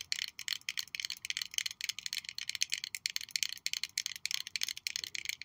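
Long nails tap rapidly on a small purple faceted glass perfume bottle with a metal cap, held up close. The result is a steady stream of quick, bright, high clicks that stop almost instantly with no ringing, and almost no low end.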